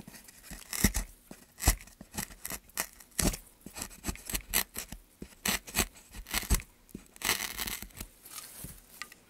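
A gouge cuts and scrapes into a solid, light pine softwood plank with a carved channel, held by a gloved hand. A quick series of short, dry, bright scraping strokes is heard, each a crisp burst with almost no ring, separated by brief pauses and some longer rasping passes.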